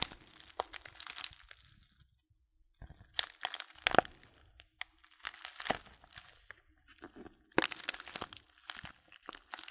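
Fingertips crumple and crinkle a small, filled Blutorange paper tea bag held close. Sharp, bright crackles and crunches come in uneven bursts, with a near-silent pause around two to three seconds before the crinkling resumes. The paper rustles dry and close, with no ring after each crackle.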